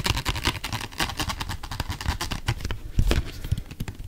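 A small, hollow orange plastic bottle with a white cap and blue label is held close to the mic and tapped rapidly with fingertips and nails. The taps come as a fast, uneven stream of dull, low hollow thumps mixed with bright, clicky nail ticks. Each tap dies away almost at once.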